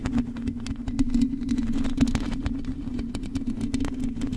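Long acrylic nails on both hands scratch the rounded, hollow metal mesh grille of a large silver condenser microphone. A continuous low, resonant hum runs under rapid, dense scratching clicks and brief bright ticks, keeping the level fairly steady throughout.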